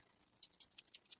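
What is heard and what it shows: A large silica gel desiccant pack used for storing fishing tackle is shaken in the air, and the beads inside rattle in several quick bursts of bright, high-pitched clicking. The sound is thin and crisp, with almost nothing below the treble and no lingering ring.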